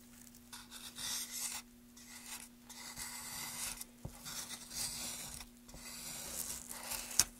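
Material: Wood.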